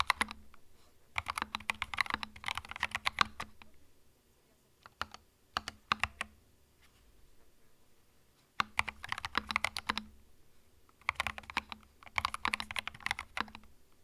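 Fingertips type in bursts on a small white 65% mechanical keyboard with plastic keycaps and a hollow plastic case, resting on a felt mat. Rapid, bright plastic clicks and clacks come in quick runs separated by short pauses, with a faint steady low hum underneath.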